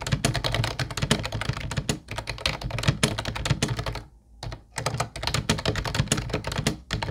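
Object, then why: Plastic keyboard with round keys. Fingertips rapidly type on a small teal Ubotie plastic wireless keyboard with round white plastic typewriter-style keys, its hollow body giving each tap a low thump under a bright clack; the mouse is left untouched. The dense, steady clatter breaks for a brief pause just past the middle, then resumes at the same quick pace.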